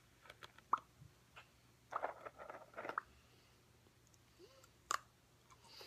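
A clear plastic Trader Joe's Chocolatey Cats cookie tub, medium-sized, hollow and partly filled with cookies, is held in both hands and tapped with long painted fingernails. The result is a quiet, uneven run of short, crisp plastic taps and clicks with a hollow tone near 1.1 kHz, some landing in quick clusters. Each tap dies away almost instantly, leaving near-silence between them.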